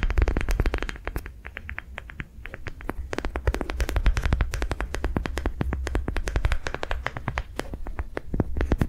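A palm-sized, yellow-green, ribbed soft rubber sensory ball is held in the hand and tapped and scratched with long nails. The result is a fast, steady stream of short, dry clicks and scratchy ticks over a constant low hum.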